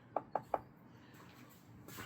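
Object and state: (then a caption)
Real wooden surface. Knuckles rap three quick, evenly spaced knocks on a real wooden surface, each a short, dry, hollow tap centered around 785 Hz that dies away almost instantly. Quiet background noise follows, with a soft broadband rise near the end.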